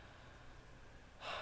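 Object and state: Nothing is struck.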